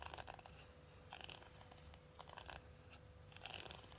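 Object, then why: Cardboard eyeshadow palette case. Long acrylic nails tap and scratch across the closed, flat holographic cardboard case of a hand-sized Lunar Beauty eyeshadow palette. Quiet, bright clicks and dry scratchy rasps come in short clustered bursts, with a faint steady hum around 500 Hz beneath them.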